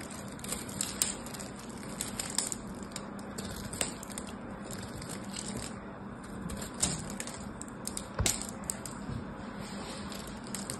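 A solid purple bar of soap, held in the hands, has its surface carved and shaved with a craft knife blade. A steady, dense crackling scrape runs throughout with a bright, hissy top, broken by sharp, sudden clicks as the blade cuts. A faint low hum sits underneath.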